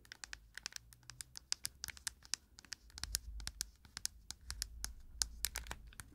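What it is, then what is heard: Plastic compact case tapped and scratched. Long nails tap and scratch a round cushion compact case, first on its front and then on its smooth plastic back with a printed label. A quick, dense run of sharp, bright clicks sits over faint scratching and a low, soft rumble. Each tap is dry and dies away almost at once.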